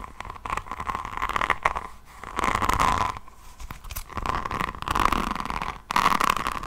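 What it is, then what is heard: Rhinestone-covered notebook scratched with nails. Long painted nails of both hands scratch across the faceted resin drills of a rhinestone-covered hardcover diamond painting notebook, about A5 size, held above the mic. The result is dense, crackly scratching with a steady ringing tone near 1.1 kHz, arriving in several bursts separated by brief quiet gaps.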